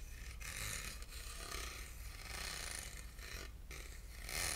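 Short nails scratch across the grooved ribs of a small, hollow, silver ribbed aluminum box held in the hand. The result is a steady, bright, rasping scrape over a low, hollow rumble, broken by brief pauses between strokes.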